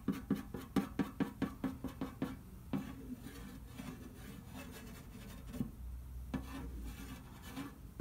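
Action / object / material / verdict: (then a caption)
tap / large round metal cookie tin / tin-plated steel / none. Fingertips rub and trace over the cookie pictures printed on the lid of a large, round, hollow, printed metal butter cookie tin lying flat. A quick run of short, hollow, low-toned knocks opens the clip. It then gives way to quieter, slower rubbing with only a few scattered bumps.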